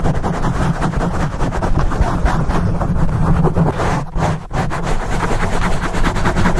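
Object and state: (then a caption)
Foam microphone windscreen being scratched. Fingertips and nails scratch quickly and hard across the top and sides of a black porous foam microphone windscreen. The result is a continuous, dense, low rumbling scrape with a steady hum near 60 Hz, very little bright content, and a brief dip in the middle.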